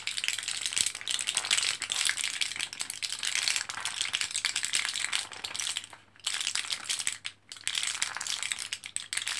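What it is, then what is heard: Blister pack of capsules, rattling. Fingertips press an orange plastic-and-foil blister card of capsules, held foil side up in both hands, and the capsules rattle inside. The result is a dense, bright crinkling rattle of quick ticks and rustles, with brief quiet gaps around six and seven seconds before the rattling resumes.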